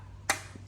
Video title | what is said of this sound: Yamaha GRAND MAJESTY 400cc. รถออกศูนย์Yamaha หัวฉีด ปี08 | เคาะเนี่ยฟังเสียงนึกว่าโช้คอะไรเป็นพลาสติกเปล่านะ